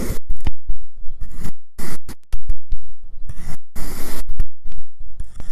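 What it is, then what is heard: Kinetic sand being sliced. A white ceramic knife with a clip-on mic cuts slices from a solid cylindrical log of marbled pink and yellow kinetic sand. The result is an irregular series of short, gritty scraping and crunching strokes with soft, low-heavy thuds between them.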